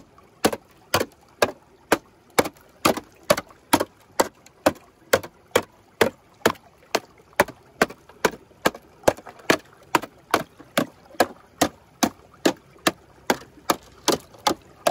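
A clear, cracked ice sheet, solid and thin, lying over a shallow streambed, is knocked with the metal head of a wooden-handled hammer, punching holes and breaking out a section. Thirty-eight sharp, bright knocks land at a steady, slightly uneven pace of about two per second. Each is a short, dry crack centred around 570 Hz with almost no ring or low rumble.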